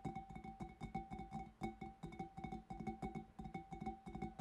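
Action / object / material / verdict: tap / glass fish bowl / glass / none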